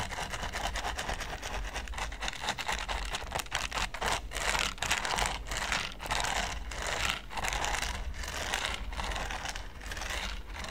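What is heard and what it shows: A green silicone pastry brush, held in the hand, brushes and scratches across a large, flat red silicone baking mat covered in small pyramid studs. The result is a dense, steady run of crackly, bristly scratching with bright, crinkly texture, rising and falling in short sweeping bursts over a faint low hum.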